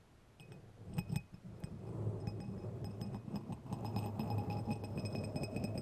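Two long, thin, solid steel threaded screws or rods, held one in each hand, are scraped along their threads and clinked together. Quick bright clinks and chinks with a short ring sound over a steady low rumbling scrape. The contact is irregular and grows busier in the second half.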